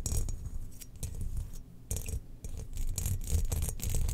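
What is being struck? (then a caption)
Hollow glazed ceramic jar. Long nails scratch along the grooves of a spherical, hollow, glazed ceramic Death Star cookie jar held in the hand. The result is irregular bursts of bright, raspy scraping over a low rumble, with brief quieter pauses between strokes.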